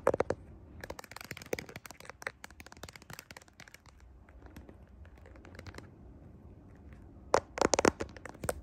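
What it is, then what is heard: Smartphone in clear plastic case. Long nails tap and scratch the back of a clear plastic smartphone case and its camera lens module while the phone is held in both hands in front of a mirror. Sharp, dry clicks and scratchy ticks come in quick clusters, loudest at the start and again near the end. Softer, faint scraping fills the quieter stretch between.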